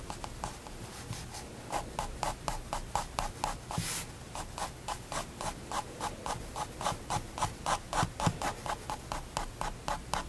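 A fine liner pen makes quick hatching strokes on a white spiral paper sketchbook resting on a wooden desk, drawing hamster fur. Short, dry scratching strokes repeat at about four per second with a slightly uneven rhythm, each with a bright papery edge. A longer, airier swish comes near the four-second mark.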